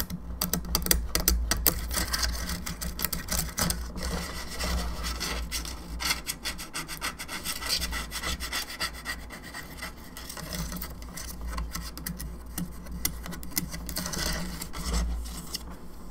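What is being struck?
Molded plastic skull lamp.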